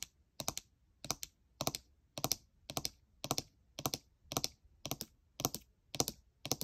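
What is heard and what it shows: Long nails rapidly tap the plastic keycaps on the right side of a gold MacBook Air keyboard. About a dozen short bursts of two or three crisp, bright clicks follow one another at a loose, uneven pace. Each click stops almost instantly, with little low end.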